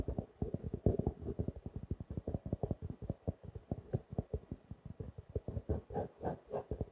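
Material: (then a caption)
Faux leather. A small blue-grey stitched faux leather covered notebook, held upright, is tapped rapidly with fingertips and nails, giving about forty soft, muffled, low thuds. Each tap dies out almost at once, and a few brighter clicks from the nails come through toward the end.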